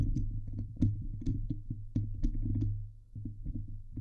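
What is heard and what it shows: Fingers and nails scratch the hollow steel wire-mesh dome grille of a Blue Yeti microphone. The result is a close, low, boomy rumble with a steady hum around 100 Hz, broken by repeated scraping bursts and faint bright ticks.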